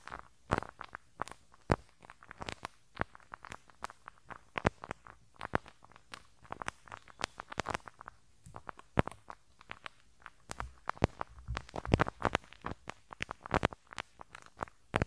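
A teal rubber-bristle brush is rubbed over the small hollow metal mesh grille of the left capsule on a handheld stereo recorder. The result is a close, uneven stream of sharp snapping pops and crackles over a soft low rumble. Each pop dies away almost instantly.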